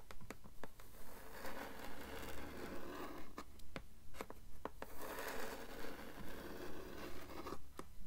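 Long nails scratch and tap on the blank endpaper inside the cover board of a blue hardcover book. Twelve steady, evenly paced swells of dry, papery scratching are heard over a faint low hum, with sharp tap clicks scattered between them.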